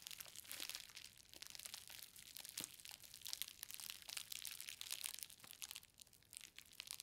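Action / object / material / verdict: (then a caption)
scrape / plastic bubble wrap around a parcel / plastic / none. Both hands press and knead a green plastic bubble-wrapped book parcel resting on a fabric surface, crushing and popping the bubbles with fingertips and long nails. A steady, bright crinkling and crackling continues throughout, punctuated by many sharp, quickly fading pops, with almost no low end.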